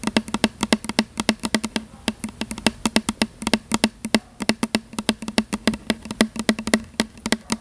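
Long fingernails tap rapidly on the label of a tall plastic "Butterfly" fragrance mist spray bottle with a gold pump top, held in one hand. About 49 short, dry clicks with a hollow tone near 220 Hz come in quick irregular bursts, each dying away almost instantly.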